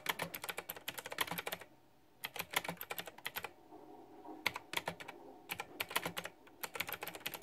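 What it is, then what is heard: Plastic mechanical keyboard typing. Fast typing with fingertips and long nails on a white backlit plastic retro mechanical keyboard with round typewriter-style plastic keycaps. Bursts of bright, sharp clicks and clacks come in quick flurries, separated by brief pauses of near silence.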